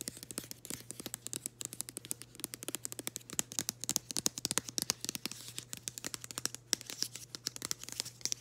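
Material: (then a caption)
Cardboard. Long green acrylic nail tips scratch across a thin, flexible, flat floral printed cardboard package with a round white label, held up in the air. A rapid run of dozens of short, crisp, bright scratches and clicks plays over a faint steady low hum.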